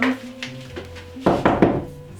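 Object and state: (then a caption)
Hollow interior wall. Knuckles knock three times on an interior wall between the front room and the kitchen of a brick rambler, checked to see whether it is a covered-up exterior wall. The raps are short, dull and wooden with a brief low ring, and the wall sounds hollow.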